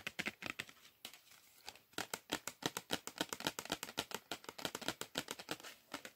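Fingernails scratch and tap on a small, flat cardboard chocolate bar box with its printed back side facing up, producing about 35 quick, dry, crinkly clicks. The hits are bright and papery with almost no low end, and each one stops short. A quieter stretch of soft scratching in the middle breaks up the dense run of taps.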